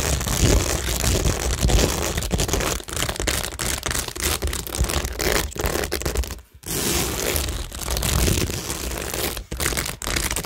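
Long nails scratch across rows of acrylic rhinestones and pearls set on a cork tingle board. The result is a dense, continuous crackling and scraping with a bright hiss and a heavy low rumble, broken by brief dips and a short near-silent pause midway before the scratching resumes.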